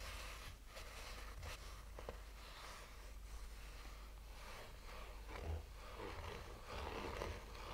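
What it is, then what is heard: Fabric-covered hard sunglasses case being scratched. A black oval sunglasses case with a textured fabric cover over a hollow, rigid hard shell is slowly scratched with the fingernails of both hands. Soft, continuous scratchy rasping rides over a steady low hum, with brief brighter swipes now and then and no distinct separate hits.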